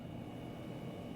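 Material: Nothing is struck.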